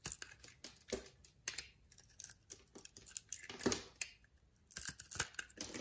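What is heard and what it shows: A utility knife blade scrapes and carves thin slices and small cubes off a solid, palm-sized brown bar of soap with a cross-hatched surface, held in hand. Quick, crisp cuts and dry scraping strokes come in irregular bursts, bright and hissy with little low end. Each cut snaps off short, with almost no ring.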